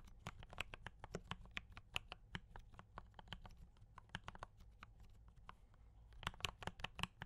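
Both hands type continuously with fingertip taps on a compact mechanical keyboard with brown switches and cream and red plastic keycaps. Quick, sharp, bright clicks fall in an uneven stream over a low steady hum, and each one dies away almost at once.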